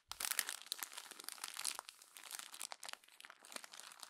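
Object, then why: Glossy paper magazine. A page of a glossy paper magazine is smoothed flat with the palm, then crumpled and turned by hand. The result is a dense run of crisp, bright crinkling and rubbing with many quick crackles, quiet overall and with almost nothing in the low end.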